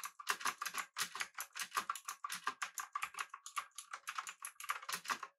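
Both hands type with fingertips on the blue-switch keys of a pink-backlit, typewriter-style mechanical keyboard with an aluminum body and round plastic keycaps. The result is a rapid, steady run of crisp, bright clicks with short, sharp decays and a tonal ping around 1 kHz.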